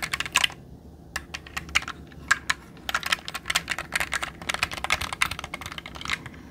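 A jade roller is rolled across the plastic keycaps of a black mechanical computer keyboard held upright, setting off rapid, irregular bursts of bright key clicks. Each click is short and dry with almost no low end, separated by brief quiet gaps.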